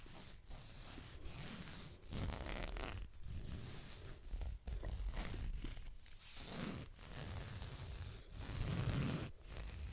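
Fingertips rub and scratch along a blue leather belt with a tan underside, held vertically in front of the microphone. The result is a series of dry, rasping scratch strokes with a bright, papery hiss, separated by brief pauses. Beneath them runs a low, rumbling body.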